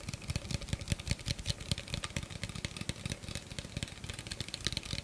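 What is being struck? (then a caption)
Clear plastic blender cup. An empty, hollow clear plastic blender cup with a threaded rim is tapped rapidly with the fingernails close to the mic. A steady stream of quick, dry clicks follows, each with a low hollow thump and a bright, crisp tick that dies away almost instantly.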